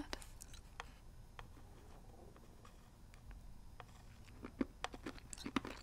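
Fingernails tap the edges and face of a hollow plastic NES game cartridge held in both hands. The quiet, irregular taps sound light and crisp, with short clicky transients that die away almost instantly over a faint low background hum. The taps grow louder and more frequent toward the end.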